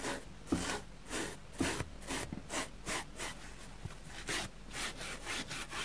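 A white plastic spoolie brush scratches back and forth across a dusty grey porous foam sponge block, shedding dust. Soft, bright, airy scraping strokes repeat at a steady brisk pace, with a few sharper, louder scratches standing out among them.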